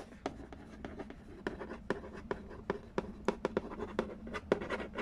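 Fingertips tap quickly on the lid of a hollow cardboard Candy Land board game box. A rapid, uneven series of short, dry, hollow knocks with a low-mid body sits over a faint scratchy hiss, and each tap dies away almost at once.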